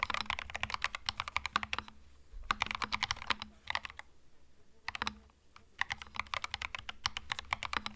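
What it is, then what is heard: Mechanical keyboard with plastic keycaps. Fingertips type continuously on a compact cream mechanical keyboard with plastic keycaps. Quick, bright, clacky keystrokes come in dense bursts separated by brief pauses, with a faint low hum underneath.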